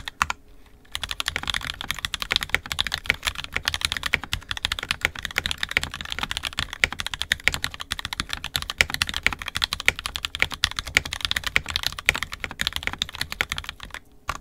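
An NK65 Entry Edition 65% mechanical keyboard, with a purple plastic case, red and black plastic keycaps, and lubed and filmed 67g Tangies switches, is typed on continuously with the fingertips of both hands. After a brief quiet start, a dense, steady stream of short, bright plastic clacks centered around 2.3 kHz fills the clip with almost no ring, and it fades to quiet right at the end.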